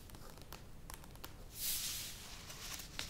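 Long nails tap the sides of a medium plastic yogurt tub standing upright, making quiet, crisp, bright clicks over a low background. Midway a broad, bright rushing swell rises and fades, then a few more light taps follow as the hands move away near the end.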